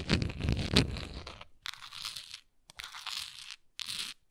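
Long nails scratch and tap the front and sides of a textured, labeled plastic Tums tablet bottle, hollow and holding tablets. A dense, crunchy stretch of tapping and rattling gives way to three separate bursts of bright, hissy scratching.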